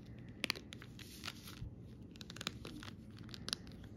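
Fingertips with long red nails scratch and rub across a flat sheet of raised, glossy plastic flower and bottle stickers on a clear, crinkly plastic backing lying on fabric. The result is soft, bright crinkling and scratching, broken by sharp, crisp ticks and clicks.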